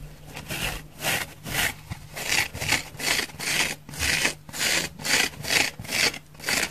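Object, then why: Foam sponge. A dry, thick, palm-sized orange porous foam sponge is scratched quickly with long nails across its face and curved side. Eleven bright, dry rasping strokes come in a fast, uneven rhythm, each a short burst of high, brushy texture with little low end.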